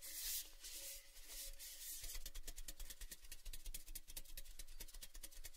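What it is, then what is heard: Empty painted metal tin canister. Fingertips rub and scratch along the outer surface of an empty, hollow, orange-painted metal Baileys tin canister, a cylinder about 30 cm long, open at one end and held in both hands. A bright, hissing scrape fills the first two seconds, then gives way to a quick run of short, scratchy strokes over a low, hollow rumble.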